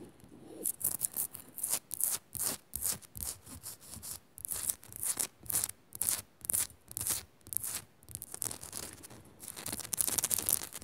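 A Himalayan rock salt lamp is scratched fast with fingernails in a rapid series of short, bright, gritty strokes, with no talking. The scratches come in quick bursts separated by brief gaps, with most of the energy high and hissy and little low end.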